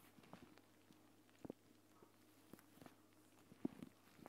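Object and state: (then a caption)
Plastic gel bead eye mask. Fingertips with long painted nails press and tap a flat, clear plastic gel bead eye mask filled with green gel beads as it lies on a woven mat. Soft, dull, muffled taps sound at irregular intervals over a faint steady hum. The two strongest taps land just before the two-second mark and again past three and a half seconds.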